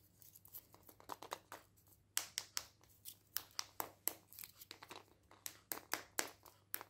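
Medium painted nails scratch and pick along the surface and seam of a small hollow chocolate egg's printed aluminium foil wrapper, held over artificial grass. About twenty quick, bright, crinkling scratches and sharp clicks are heard, each dying away almost at once, at a quiet level with almost no low end.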